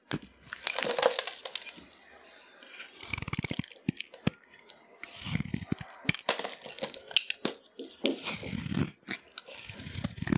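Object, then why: Bar of soap shaved with a blade. A hand-held solid orange bar of dry soap is shaved and scraped with a utility knife blade, and crumbly curls pile up on a yellow surface. Bright, dry scraping and crunching come in bursts, with crisp crackles and soft low thumps in between.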